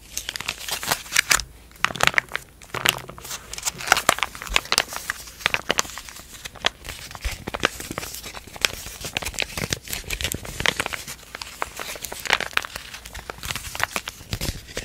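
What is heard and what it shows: A flat, sealed, white printed foil-laminate burn dressing pouch, about 15 cm square and holding a gel pad, is handled, pressed and crinkled with the fingertips and long painted nails. A steady stream of bright, crisp crinkles and sharp little crackles fills the clip, with louder bursts now and then. The sound stays high and dry, with almost no low end and no ring after each snap.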